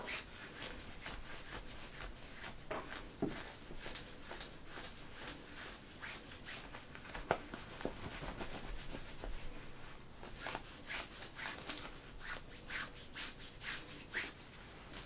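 Fingers and nails scratch and rub printed synthetic stretch workout leggings worn on a person's leg. A steady, quiet, papery rubbing runs throughout, broken by repeated bright, crisp scratching strokes with no ringing. The strokes come in quicker bursts toward the end.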